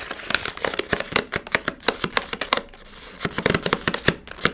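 Hands crinkle a palm-sized Milkybar foil-lined plastic pouch while fingernails scratch and tap it. The result is a rapid run of sharp, bright crackles and taps with very short decay over a thin, papery rustle, briefly thinning to a softer scratch before the crinkling picks back up.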